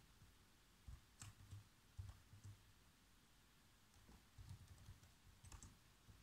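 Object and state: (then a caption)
Plastic laptop keyboard being typed on. Fingertips type on the black plastic keys of a laptop keyboard, making repeated soft key taps. Each tap is a short, dull low thump with a faint bright click on top, dying away almost at once. The taps come in small uneven bursts over quiet, steady background hiss.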